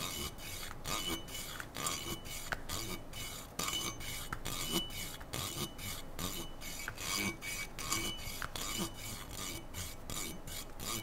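Fingertips and nails rub and scratch along the slotted metal handguard of a black AR-style rifle held diagonally. The result is a steady, bright, raspy scraping made of quick, irregular strokes, with faint metallic tones ringing through.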